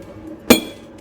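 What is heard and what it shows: A hammer strikes a dense, heavy zirconia ceramic plate once, producing a sharp, bright clink with a low body around 234 Hz and a short metallic ring. The plate does not break.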